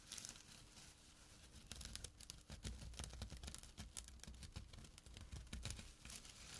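Fingertips and short nails scratch the coarse weave of a small, flat burlap drawstring pouch. The result is a quiet, dense run of dry, rasping scrapes with bright, crinkly crackle over a low, muffled rumble, rising into sharper bursts midway.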